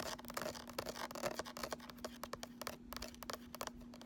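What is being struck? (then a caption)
Cardboard eyeshadow palette. A small closed cardboard eyeshadow palette, held in both hands and turned to show its embossed front, plain back and ridged edge, is scratched with nails and fingertips along its surfaces and edge. Quiet, dry, papery scratching comes in quick bursts with sharp, bright ticks over a faint steady low hum. The strokes stop short with no ring.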